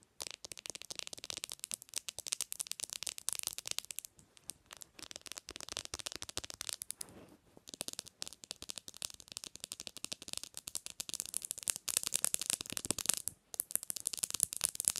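Long nails tap fast on the glass and edges of a bare black glass-screen smartphone resting on a pillow. The result is a dense stream of crisp, bright clicks with almost no low end and no ring, with short pauses near 4 and 7.5 seconds. The tapping grows a little louder toward the end.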